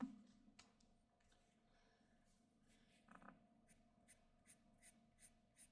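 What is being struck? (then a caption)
Graphite pencil on drawing paper. A black graphite pencil scratches and shades the head area of a figure on a flat white sheet of drawing paper. Quiet, papery scratching runs through the clip, with a louder stroke near the start and another around the three-second mark. It ends with six short, bright, evenly spaced strokes.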